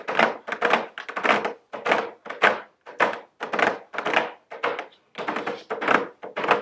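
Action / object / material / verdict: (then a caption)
tap / cardboard box with plastic window / cardboard / none. Very long blue nails tap and scratch a medium square cardboard nail polish gift box with a round plastic window, held upright. Quick clusters of dry, papery taps and short scratches come in uneven bursts, with a hollow midrange body and brief bright edges that die away almost at once.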